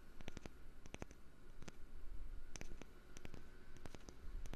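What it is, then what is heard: Wooden lid. A wooden lid is tapped lightly with quick, irregular taps. Each tap is a short, dry, bright click that dies away almost at once, over a steady low rumble.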